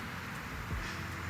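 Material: Nothing is struck.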